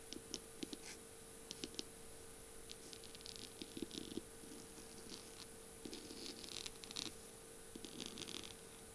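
Long glittery pink nails tap and scratch the slim beaded barrel of a bead-covered feather pen with a metal tip and pink feathers, lying on a flower-print surface. Quick, bright clicking taps come in short bursts, mixed with soft scratchy rustles over a steady faint hum.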